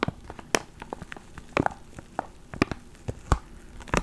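A small clear plastic ziploc bag holding a black foam microphone windscreen is held between the fingers, then crinkled and squeezed with the fingertips. Sharp, bright crackles and crinkles come in irregular bursts over a soft, low rustle, with several louder snaps standing out.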